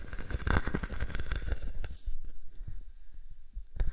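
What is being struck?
Plastic bubble wrap sheet.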